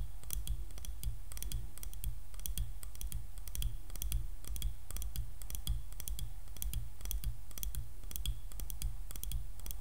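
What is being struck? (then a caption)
Wooden hairbrush handle. Medium-long painted fingernails tap and scratch along the solid handle of a light wooden hairbrush held in one hand close to the microphone. Rapid, crisp clicks with bright tops come in quick bursts over a steady low hum.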